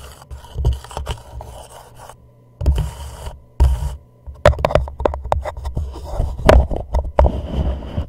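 A thumbnail and fingertips scratch and tap the wall of an empty, hollow white plastic reusable cup turned upside down over a microphone. Low, muffled scraping comes in bursts with short silent gaps, then gives way to a run of sharp, quick taps. Each tap is dull and boomy and dies away quickly.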